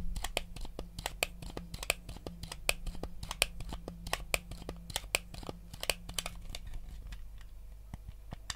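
A white hollow plastic Nintendo GameCube controller is held in both hands while fingertips tap its buttons and scratch its shell. Quick, sharp plastic clicks and taps come in an uneven run over soft, bright, crinkly scratching, with a steady low hum underneath. Each tap dies away almost instantly.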